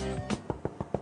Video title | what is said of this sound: Documentaire CHOC santé Cholesterol, Le Coupable Idéal | ça sonne creux c'est bon c'est bien cuit